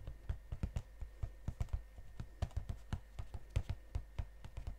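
Fingernails tap quickly on the glossy front of a gold cardboard chocolate box held close to the mics. About 23 short, dull, low taps land in an uneven rhythm, each dying away almost at once over a faint steady low hum.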